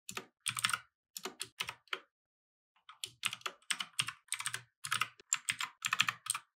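Fingertips type continuously on a compact mechanical keyboard with plastic keycaps resting on a wooden desk. Quick bright clacks come in bursts, with a short pause near the start. Each keystroke is sharp and dies away almost at once.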